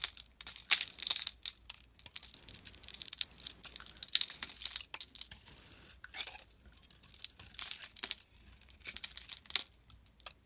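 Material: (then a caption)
Soap. A metal utility knife blade slices and scrapes chunks off a solid oval bar of glossy pink soap with embossed lettering, held in the hand, revealing its white interior. A dense run of crisp, bright scraping and crumbly crackling follows, with short sharp bursts and no low end. The cuts come in uneven clusters with brief pauses between them.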